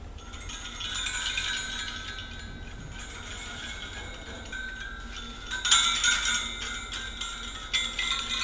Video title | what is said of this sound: Visite de l'atelier de Manon Damiens | quand elles sont finies, elles font des sons, quoi, des petits tingling